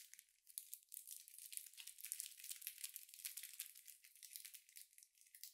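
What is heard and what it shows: A hand-sized, solid bar of soap still in its printed paper or film wrapper is held close while fingertips and nails scratch and squeeze the wrapper. This produces a steady run of quiet, bright crinkling and tearing sounds made of many rapid, short rustles. The sound is almost entirely high-pitched, with no low end.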